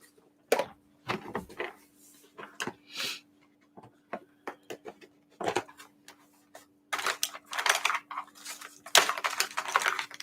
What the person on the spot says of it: here i am shaking it you can hear it